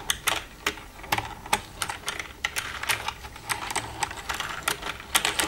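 Long red-painted nails tap and type with both hands across the keys of a black plastic desktop computer keyboard with a hollow casing. The result is a quick, uneven run of sharp, bright plastic clicks and clacks that stop short, with almost no low end.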